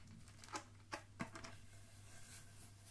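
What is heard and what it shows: Fingertips tap along a red Christmas wrapping-paper roll, the paper wound on a hollow cardboard core and held in both hands. A few soft, dull, papery taps with brief crinkly edges stand out over a steady low hum, each dying away almost at once.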